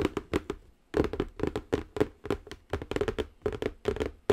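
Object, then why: Closed cardboard box. Long acrylic nails tap quickly across the top of a large, square, silver-printed Cocoro Zen Garden cardboard box, which is closed and hollow. The taps are short, dry and hollow-sounding with a mid-pitched body and almost no ring. They come in quick runs, with a brief pause about half a second in.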